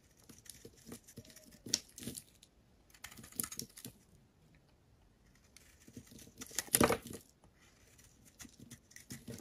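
A metal blade shaves curls and chunks from a solid, rectangular, pale yellow bar of soap held in the hand. Soft, crisp scraping and crumbly shaving bursts come in uneven clusters, with quiet gaps between strokes. The loudest, brightest cut lands near the seven-second mark.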